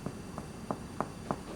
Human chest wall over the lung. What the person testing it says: If I percuss over his lung, you hear a more hollow sound, but again, it's subtle.